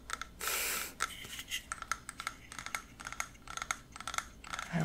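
A small cream ceramic planter holding a small plant is held in both hands and tapped on its outer wall with fingertips and nails. The result is a rapid, irregular run of crisp, bright clicks, each with a very short ring around 1.3 kHz. A brief burst of soft, hissy rustling comes near the start.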